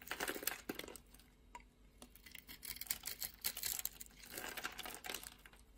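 A metal blade scrapes and carves a solid pink-and-white striped soap bar with a red-green edge, held in a hand with long red nails, shaving off flakes and chunks. Quiet, bright, crackly scraping comes in dense bursts, loudest at the start and again near the end, with softer scratching in between.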